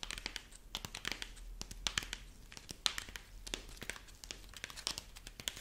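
A dried corn husk rabbit figurine is held in front of the face while the long nails of both hands scratch and squeeze its dry husk body. The result is a rapid stream of crisp, bright crinkling and crackling snaps over a quiet, low hum.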